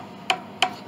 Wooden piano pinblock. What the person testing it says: this pin block this all has separations down inside